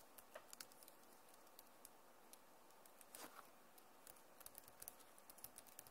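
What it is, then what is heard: Plastic laptop keyboard. Both hands type fast on the plastic keys of a backlit Acer laptop keyboard. About twenty quiet, sharp clicks and taps are heard in a soft, irregular patter, each bright tick fading quickly over a faint low hiss.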